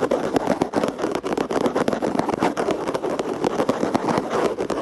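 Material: Plastic.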